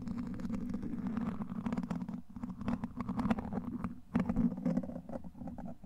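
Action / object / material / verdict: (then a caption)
scrape / steel wire-mesh microphone grille scratched with a plastic rod / steel mesh / none. A clear plastic rod-shaped handle, held by the fingertips, is rubbed and scratched across the hollow domed steel wire-mesh grille of a large microphone. Dense, continuous scraping produces a loud low-mid rasp centered around 200–250 Hz, with rapid scratchy strokes, a brief pause near 2.2 seconds and another near 4 seconds.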